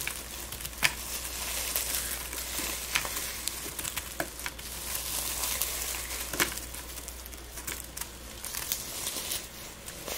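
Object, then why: Dried rose petals and buds. Gloved hands crush and rub dried rose petals and buds between the palms, producing a continuous dry, bright crinkling and crackling with scattered sharper snaps throughout. A faint steady low hum sits underneath.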